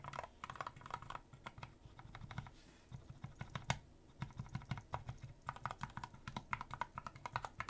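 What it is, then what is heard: Mechanical numpad with plastic keycaps. Fingertips of one hand tap the keys of a small mechanical numpad with a clear plastic case and cream plastic keycaps. The result is a quick, uneven run of short, dry clicks with a low thock under each keystroke and faint bright ticks, bursting in clusters and pausing briefly between them.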